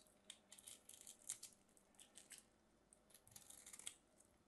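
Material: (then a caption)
Soap. A solid mint-green soap bar held in the hand is cut into cubes and scraped with a small craft knife. Quiet, crisp, bright scraping and crackling come in short irregular bursts, with almost no low end.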